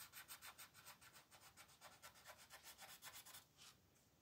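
A blue wooden colored pencil rubs in dense back-and-forth strokes across a thin paper coloring book page lying flat on a table, filling in shapes. The result is a quiet, rapid, slightly uneven series of bright, papery scratching swishes, about three to four per second, that trail off near the end.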